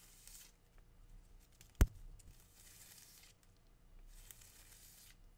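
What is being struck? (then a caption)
Green palm frond leaflets. Fingers with dark-painted nails pull and tear the thin, narrow leaflets of a green palm frond. Soft, papery tearing and rustling comes in quiet bursts, with one sharp, sudden snap near the start as a leaflet rips away.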